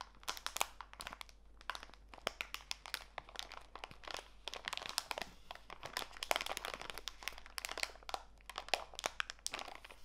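A small clear plastic bag full of walnut pieces is squeezed and crinkled between fingertips with long nails. It makes a dense, continuous stream of sharp, bright crackles and crunches that stop instantly, over a faint steady low hum.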